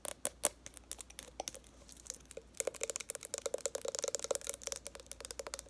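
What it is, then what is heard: Plastic cosmetic bottle. Long nails tap quickly on the metallic cap and body of a purple plastic makeup remover bottle holding liquid while the bottle is tilted. The result is a quiet, rapid run of short, bright clicks with a hollow plastic tone that pauses briefly, then picks up faster and denser.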